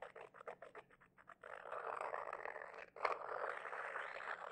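A small white glossy glazed ceramic figurine with two rounded bulbous sections, apparently hollow, is held between both hands and rubbed and scratched with fingertips and medium-length manicured nails. A quick run of short, dry nail scratches gives way to a steady midrange rubbing hiss. After a brief pause, a sharper scrape restarts the rubbing, which continues to the end.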